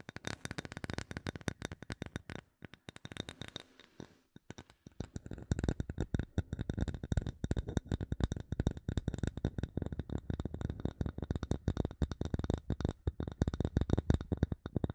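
Long nails tap and scratch the face of a solid, light bamboo wood block with visible grain, making rapid, dry, low clicks with almost no ring. The tapping thins to a brief lull partway through, then resumes in a dense, steady patter.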